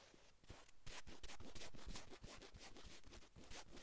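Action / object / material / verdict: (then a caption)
scrape / cotton sweatshirt fabric / cotton / none. Long acrylic nails scratch and drag across a navy cotton sweatshirt on a man's upper back. The result is a steady run of quick, raspy fabric strokes at an irregular rhythm, each a brief bright scrape over a soft, low, muffled rub.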